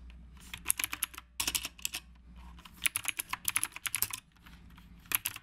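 Fingertips type continuously with both hands on a black retro typewriter-style mechanical keyboard with round plastic keycaps. About two dozen sharp, bright plastic clicks come in quick bursts, separated by short pauses, over a faint low hum. Each click stops almost instantly, with no ring.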